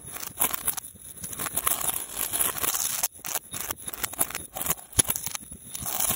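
A long, twisted silver metal link chain is held by hand and shaken and swung in loops up close. It makes a dense, bright jingling and clinking rattle with sharp metallic transients, mostly in the high range with little low end. There is a brief pause around the three-second mark, then the rattling resumes with scattered louder clanks.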